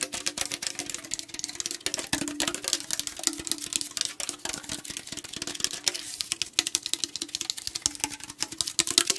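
Fast nail and fingertip tapping across the body of a tall aluminum tea can produces a dense stream of sharp, bright metallic ticks and clicks. Each tap dies away almost instantly, with a faint low hum running steadily underneath.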